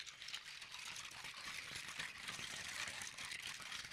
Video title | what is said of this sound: ASMR 1 Year Special 🎉🥳 My favourite triggers 😂 Scratching 😮 Tapping 👈 PERFECT SOUNDS 😴 Part 1 | Lego in water it's quite a quiet and subtle sound